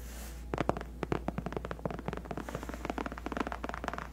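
Long painted acrylic nails on both hands scratch and tap the white, padded faux leather (PU) backrest of a large, cushioned gaming chair. Quick, dry, soft taps and scratches begin after a brief quiet start and continue in a rapid, uneven patter over a steady low hum.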